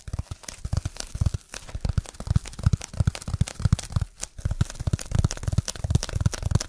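A solid, dark speckled foam block is scratched and tapped fast with fingertips and nails close to the mic. It makes a dense run of dull, low thumps under a dry, crackling, tearing scratch texture, with brief lulls near 1.5 and 4 seconds. Each hit stops dead with no ring.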